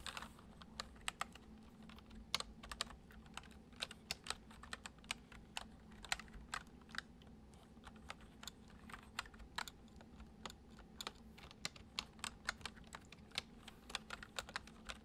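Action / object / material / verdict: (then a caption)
tap / plastic computer keyboard / plastic / none. Fingertips tap the keys of a full-size white plastic computer keyboard resting on a wooden desk, typing at a steady, gentle pace. Around fifty short, bright clicks stand apart with no ring after each, over a quiet, constant low hum.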